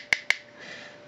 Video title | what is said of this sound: french review MP-5 Megatron+upgrade part 1/3.avi | Ça sonne creux, c'est du plastique.